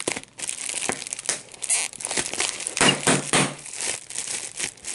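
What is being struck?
Plastic bubble wrap.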